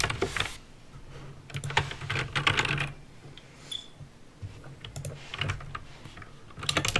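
Fingertips type at a fast pace on a backlit mechanical keyboard with plastic keycaps and clicky green switches. Bursts of sharp, bright clicks ride over a low, hollow thud from each keystroke, separated by brief quieter pauses between runs of typing.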